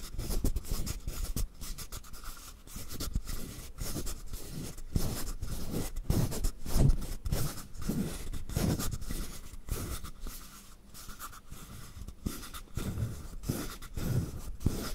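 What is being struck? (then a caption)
Carved wooden frog guiro. Fingertips and nails scratch and tap along the ridged back of a hand-sized, hollow, carved wooden frog guiro held in both hands. The result is a steady, loosely irregular run of soft, dry rasps and taps with a deep, woody body and very short decay.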